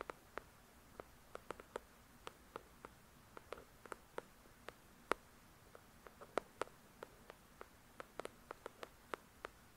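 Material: Paper.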